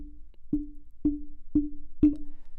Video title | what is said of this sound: Microtech Gefell UMT70s Review / Test (vs. NW700, U87 Ai, TLM103) | there is a dominant and very noticeable tone to it even if you tap the cable